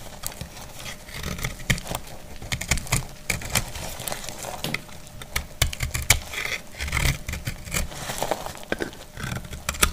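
A solid, dry white soap bar is shaved with a metal utility blade. Its quick, dry scrapes and crisp crackling snaps repeat steadily for about ten seconds, with sharp bright clicks over a soft low rustle. Each cut stops short with no ring.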